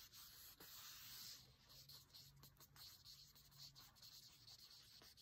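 Fingertips and nails tap and trace over a thick, dark green printed divider page in an open cookbook. The sound is a quiet, bright, scratchy rubbing with faint soft taps, mostly airy high hiss with almost no low end.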